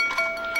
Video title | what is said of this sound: Behind the Scenes Tour of Replacements | tapping on China tells them if a piece is cracked if you hear a pretty ring